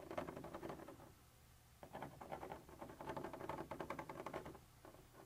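A thin metal pointer tip, held in the fingers, scratches and taps across a white translucent textured plastic surface. Quick, dry bursts of rasping taps sit in the mid range around 600 Hz with little bright content. Brief quiet gaps come just after the first second and again near the end.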